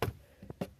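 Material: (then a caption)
Wood. Three short, dull knocks on a piece of a broken old bookshelf made of solid wood, with the last two close together. Each is a brief low thud with little high end, dying away almost immediately. The wood is judged still good, strong and solid, though the knocks don't carry that well on these pieces.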